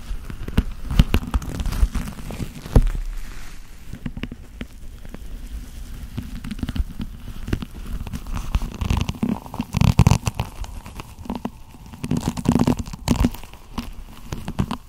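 A hand in a long black leather glove rubs along the fingers and wrist of the other glove. The sound is a low, muffled, continuous rubbing with soft crackly scuffs and brief louder swells, with almost no bright content.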